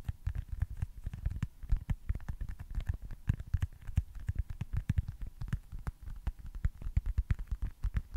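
A small, solid baseball-style foam stress ball with printed red stitching is held close to a microphone and tapped and scratched with fingertips and short nails. It makes a rapid, uneven stream of soft, dull, low thumps that stop almost at once, with faint scratchy ticks between them.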